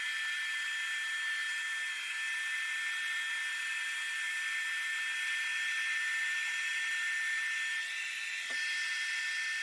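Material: Nothing is struck.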